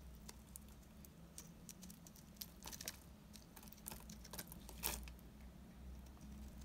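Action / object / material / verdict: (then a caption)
scrape / bar of soap scraped with a knife blade / soap / none. A utility knife blade with a yellow handle scrapes a solid, embossed, dry green soap bar held in the hand. The clip has quiet, crisp scratching ticks and short bright scraping bursts, the strongest near the end, over a steady low hum.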